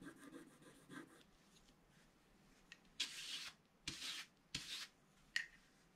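A wooden stylus scrapes the black wax coating off a flat scratch art page with colored paper underneath. Faint, rough rubbing at the start gives way to five short, bright scraping strokes in the second half, the last one a quick flick.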